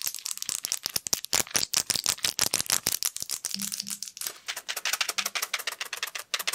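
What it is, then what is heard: Plastic and foil blister pill packet. A flat blister pill pack of plastic bubbles with a foil backing is held in front of the mic while fingers and nails tap, scratch and crinkle it quickly. The result is a rapid, dense run of sharp, bright clicks and crackles with very short decay, dominated by high frequencies and almost no low end.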